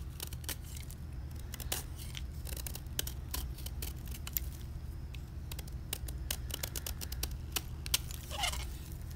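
A utility knife blade scrapes the face of a solid white gym chalk block (magnesium carbonate) held in the hand, raising rows of thin curling flakes. Many quick, dry, bright scratchy clicks come one after another over a steady low hum, each stopping almost at once.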